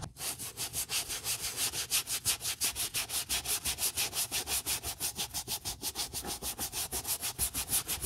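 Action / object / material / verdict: scrape / leather boot scrubbed with a brush / leather / none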